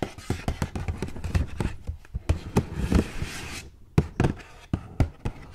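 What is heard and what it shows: Long gold metal claw nails tap and knock on the flat sides of a hollow, hand-held purple printed cardboard gift box with a ribbon bow. A quick, uneven run of short, dull, low knocks sounds with a faint brushing hiss between them, then a brief pause before the taps resume.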